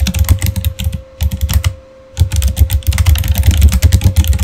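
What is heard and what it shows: Both hands type with their fingertips on a backlit Razer mechanical keyboard with plastic keycaps, giving quick runs of clacky keystrokes with a low thump under each one. Two brief pauses break up the typing, and a faint steady hum sits underneath throughout.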